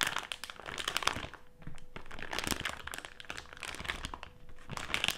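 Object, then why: Plastic-film candy bag with gummies inside. Fingertips press, crinkle and scratch a medium printed plastic-film Haribo gummy candy bag with gummies inside, lying flat on a table. Dense, bright crackling crinkles come in quick overlapping bursts with soft rustling in between, over a faint steady low hum.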